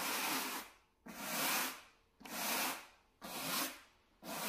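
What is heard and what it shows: A wooden bristle brush, held in a gloved hand, scrubs near the edges of a small, solid, flat beige low-pile carpet mat. Five separate broad, bright scratchy strokes sweep across the fibers at a steady pace of about one per second. Each stroke swells and fades into brief quiet before the next.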